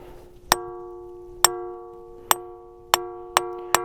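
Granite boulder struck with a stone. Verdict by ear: Ringing.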